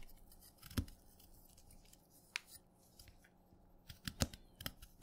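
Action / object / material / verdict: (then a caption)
scrape / orange chalk stick scraped by a steel knife / chalk / none. A steel knife scrapes down the short remaining piece of a wet orange chalk stick held in the fingers, breaking it into crumbs. Sharp, crisp cuts with bright crackling edges stand out from a quiet background, with a faint steady low hum underneath. The cuts come sparsely at first, then cluster toward the end.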